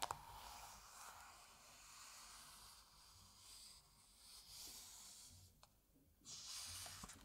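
Fingertips rub and smooth a printed paper page of an open Asterix comic album by hand. A soft, bright, hissing swish of skin on paper runs steadily, dips nearly silent for a moment, then swells into a louder final sweep.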